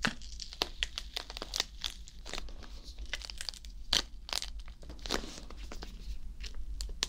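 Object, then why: Whole green bell pepper. A whole green bell pepper, hollow with a waxy skin, is held in one hand while fingertips and nails scratch, rub and squeeze its surface. Dense, bright crackling scratches and squeaky rubs come in quick bursts over a steady low hum. The sound stays close and textured the whole time.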